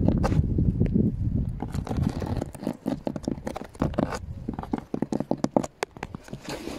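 Fingertips and nails tap and drum on an old, weathered, solid wooden board or railing outdoors with bits of snow on it. Quick, irregular dry taps and soft low thuds follow one another rapidly, mixed with light scraping and crunching. Each tap dies away almost instantly.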